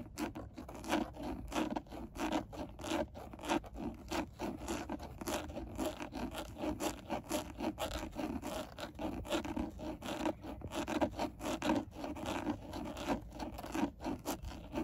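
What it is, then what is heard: Plastic steering wheel airbag cover. Long nails scratch and tap across a textured black plastic steering wheel airbag cover, a rigid hollow panel. A steady stream of dry, rapid scraping is punctuated by frequent light taps, with a hollow mid-range tone around 300 Hz and little deep or bright content. Each tap dies away almost at once.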